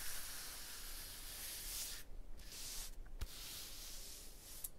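An open palm and fingers rub over a rough, textured stone block wall, making a steady, bright scraping hiss. The rubbing briefly stops twice near the middle, with a faint tap in between, then resumes until the end.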